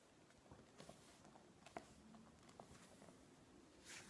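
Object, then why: Glossy paper magazine. Fingertips press and stroke the pages of a thick, open glossy-paper magazine resting on a wooden table, then turn a page and rub their nails along the page edge. The result is quiet, soft papery rubbing with a few light taps, one sharper tick in the middle, and a brighter rustle of the page turning at the end.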